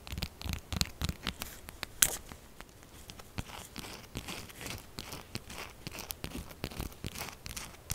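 Long acrylic nails scratch fast across the top and edges of a solid pink textured soap bar lying flat. The result is rapid, dry, crackly scraping in quick bursts, with bright high hiss and a low rumble underneath. The sharpest, loudest scrape comes at about two seconds.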